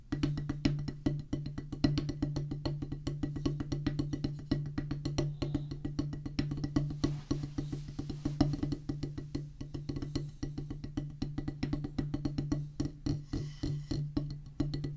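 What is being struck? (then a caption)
Rubber practice pad on a wooden base, struck with drumsticks. Two wooden drumstick tips tap fast and steadily on a solid black rubber drum practice pad set on a wooden base. It makes a dense, even stream of dull, woody thuds with a low tone and very little brightness. Each tap dies away quickly, with only a short ring.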